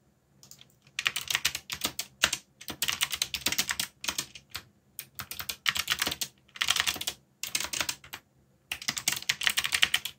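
Fingertips type on a backlit mechanical keyboard with plastic keycaps. Quick, bright, clicky keystrokes come in rapid bursts separated by short pauses, each click dying away almost at once, with very little low end.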